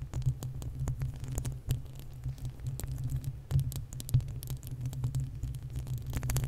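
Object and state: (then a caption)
Metal microphone grille scratched with nails. Long acrylic nails of both hands scratch the uncovered, hollow metal mesh grille of a desktop condenser microphone. A dense, throbbing low rumble fills the clip, with rapid dry scratches and sharp bright ticks pattering over it.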